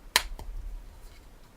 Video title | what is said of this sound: New Bee £6 Headset Stand Unboxing | it feels like plastic and it sounds like plastic so I'm gonna say it's plastic